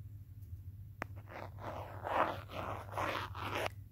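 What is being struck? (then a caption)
Smartphone in a hard plastic case, pen tip. A pen or marker tip taps and traces across the back of a handheld smartphone in a teal hard plastic case, recorded by the phone itself. One sharp tap is followed by a series of dry, scratchy strokes that rise and fall over a steady low hum.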